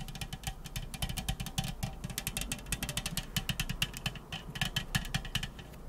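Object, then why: Unopened aluminium drink can. Long acrylic nails tap and scratch rapidly along the side of the same unopened, likely full 355 ml aluminum soda can. The result is a dense run of quick, bright clicking taps with short, dull metallic knocks and a low thudding body beneath, each tap dying away almost at once.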